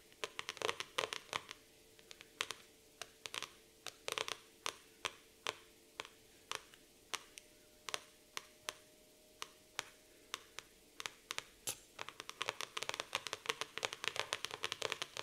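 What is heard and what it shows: Long nails scratch and trace across the glossy laminated cardboard cover of a black floral hardcover notebook. They make dozens of short, sharp, bright clicks and scrapes that die away almost instantly, with spaced strokes in the middle giving way to a dense flurry at the end. There is almost no low end, and a faint steady tone sits underneath.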